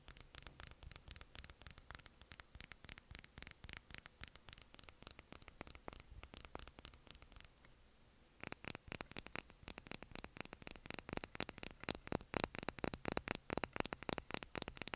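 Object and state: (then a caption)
Plastic lip gloss tube. A small, clear, filled plastic lip gloss tube is tapped with long nails, first held upright and then sideways. Rapid, sharp clicking taps with a bright, high tone sound in dense bursts, pausing for about a second to a faint hiss. The tapping then resumes slightly louder and brighter.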